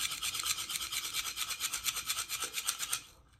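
A wooden container holding salt is shaken close up, giving a rapid, bright, rattling hiss like a maraca or shaker. The grains swish back and forth in quick, uneven strokes for about three seconds, then the sound fades out.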